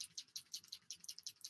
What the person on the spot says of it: shake it up. You can hear it moving in there.